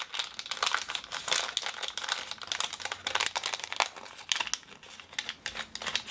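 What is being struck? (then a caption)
Small plastic film toy packet. Both hands flex and crinkle a small, unopened Woolworths Ooshie blind-bag toy packet made of plastic film, while fingernails tap against it. Dense, bright crackling and rustling mixes with quick, sharp ticks, with almost no low end. Each crackle stops dead with no ring.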